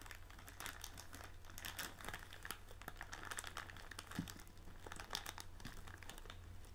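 Both hands press and crinkle a large blue and white printed plastic film bag of tealight candles lying on a table, working the plastic with fingertips and nails. Quiet, dense crackling and crinkling fills the clip, with bright, sharp ticks scattered throughout over a steady low hum.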